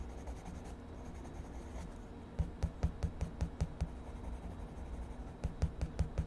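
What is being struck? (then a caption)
Colored pencil on paper sketchbook page. A purple wood-cased colored pencil is rubbed and scratched across a spiral-bound paper sketchbook page lying flat on a desk, shading a mushroom drawing while the other hand steadies the pad. A soft, steady scratching gives way to about 13 quick, dull, low-pitched strokes in an uneven rhythm, each short and dry with almost no ring.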